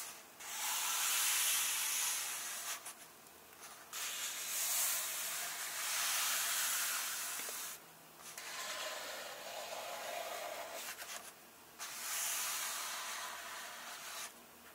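Fingertips rub and lightly tap the printed paper pages of an open illustrated softcover book. Four separate bursts of dry, bright, hiss-like rubbing are heard, with brief quiet gaps between them and almost no low end.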